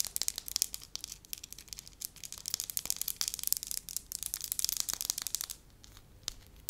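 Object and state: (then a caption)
Soft wax sheet. Long lilac nails tap and scratch the surface of a soft, flat, pale-yellow wax disc, palm-sized and solid, held in the hand. Dense, crisp, bright clicks and scratchy rustles come in quick succession with almost no low end. A brief quieter lull near the end is followed by a few final taps.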